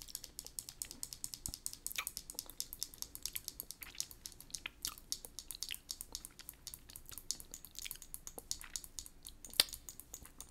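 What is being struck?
Plastic lipstick case.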